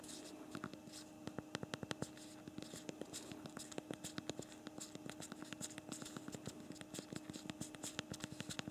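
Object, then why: Plastic smartphone keyboard keys. Fast two-thumb typing on the backlit plastic keyboard of a BlackBerry Priv smartphone gives a dense run of quick, dry clicks. They are set over a faint steady hum, and a slight camera shake comes at the end.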